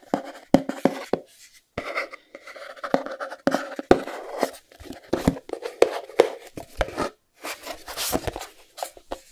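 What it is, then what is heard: Cardboard box. Fingertips and nails scratch and tap the sides of a small, closed, white cardboard Chromecast box held up in the air. Irregular sharp taps mix with raspy scratching bursts and brief silences, with a hollow mid-range tone around 480 Hz, little bass and a bright edge. Each tap dies away almost instantly.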